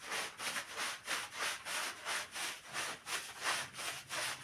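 A long-handled stiff bristle brush scrubs back and forth across a small, soaked black-and-red patterned pile rug lying flat on a tiled floor and covered in soap foam. Steady, slightly uneven strokes, about three per second, produce a bright, wet, hissing swish that rises and falls with each pass.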